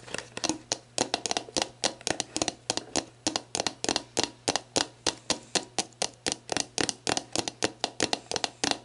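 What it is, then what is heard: Empty plastic bottle. Long black nails tap and scratch the label of an empty, hollow, clear plastic sports drink bottle lying on its side. A rapid, steady series of short, bright, crisp clicks rings off almost instantly, with soft scratchy rustling between them.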